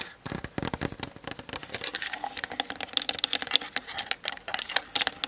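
Long nails tap quickly across the top and sides of a Canon DSLR's hollow plastic body. The result is a fast, uneven patter of short, bright, clicky taps with almost no low end, and each tap dies away at once.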